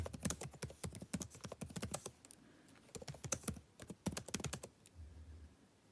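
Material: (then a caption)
Plastic. Fingertips type on a backlit laptop keyboard with plastic keys, producing quick, light clicky taps with a soft low thud and a bright top. The taps come in rapid bursts with a brief lull around the middle, then thin out and fade toward the end.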